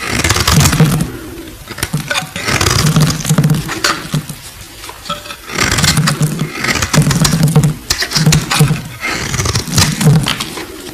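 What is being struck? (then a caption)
Glycerin soap bar. A solid, translucent purple glycerin soap bar held in the hand is scraped and carved with a metal utility blade. Rough, crackly scraping comes in repeated bursts with a low, steady undertone and bright, gritty edges, alternating between louder passages and quieter stretches.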